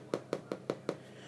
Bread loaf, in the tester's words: when I tap it it sounds Hollow which means it's cooked all the way through